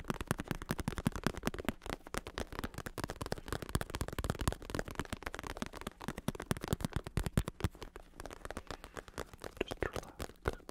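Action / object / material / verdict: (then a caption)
tap / padded synthetic leather bicycle saddle / synthetic leather / none. Fingertips rapidly tap and scratch the smooth synthetic leather cover of a black padded bicycle saddle with red trim and a plastic shell under the padding, held close in one hand. The result is a dense, continuous run of short, dull, low-heavy taps that die away almost instantly, mixed with a soft scratchy rustle.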